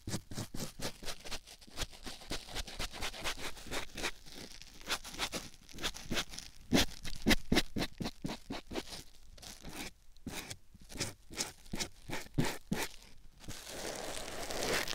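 A white rectangular foam sponge block, held by hand, is rubbed and scratched over a silicone ear microphone. A rapid series of close, crunchy, scratchy strokes with soft low thumps fills the clip, each brief and quickly fading. It ends in a steadier bright, hissy rub.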